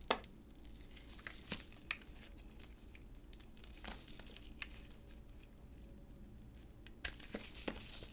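A utility knife blade shaves and cuts a solid bright green Hamam bar of soap with a bronze glossy coating, held in black-gloved hands. Dry, crinkly scraping runs throughout, broken by sharp, bright snaps as flakes break away, over a low steady background hum.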